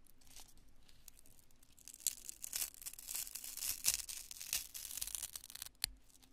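A small, solid, porous lump of cured polyurethane spray foam is pinched, crushed and torn with fingertips and long nails. The result is dry, bright crackling and tearing, soft at first and then denser and louder from about two seconds on. Sharper crunchy snaps stand out near 2, 3.9 and 5.8 seconds before the sound thins out at the end.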